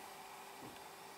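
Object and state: Nothing is struck.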